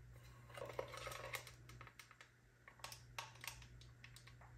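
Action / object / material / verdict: tap / plastic sunglasses frame / plastic / none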